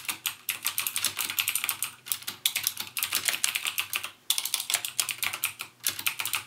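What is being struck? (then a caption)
Plastic mechanical keyboard. Fingertips type rapidly on the clicky Cherry MX Blue switch keys of a backlit plastic mechanical gaming keyboard. The result is a dense stream of sharp, bright clicks with very short ring and almost no low end, broken by brief pauses near 2 and 4.2 seconds.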